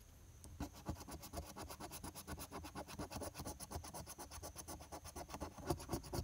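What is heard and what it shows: The edge of a metal coin scrapes back and forth across the coated play areas of a flat paper $2 lottery scratch-off ticket, held down by one hand that partly hides it. The result is a steady run of short, raspy scratching strokes, about two per second and slightly uneven, with a bright, gritty edge over a soft low rumble.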